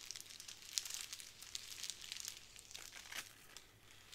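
A small square of clear plastic bubble wrap on a wooden table is scratched and tapped by long nails. Quiet, bright crinkling and ticking sounds come as a steady run of small, sharp clicks with no ring after them.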